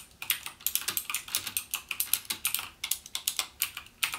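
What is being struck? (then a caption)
Plastic mechanical keyboard keys. Fingertips type rapidly on a backlit plastic Cherry MX Blue mechanical gaming keyboard, the same keyboard throughout. A fast, uneven stream of sharp, bright clicks is heard, with almost no low end and each click dying away almost instantly.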